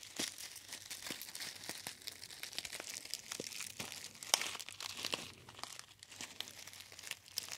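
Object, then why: Metallized foil tea pouch. A hollow gold metallized foil tea bag pouch is squeezed and crinkled with the fingertips of both hands near the ear. A steady, quiet stream of dense, bright crinkles and crackles with brief sharp snaps fills the clip, with almost no low end.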